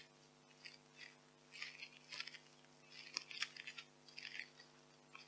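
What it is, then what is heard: Polystyrene foam packing peanuts. White expanded polystyrene packing peanuts are squeezed and rubbed in both hands with long nails above a pile of peanuts. Soft, bright crunching squeaks and rustles come in short bursts over a faint steady hum, with quiet gaps between them.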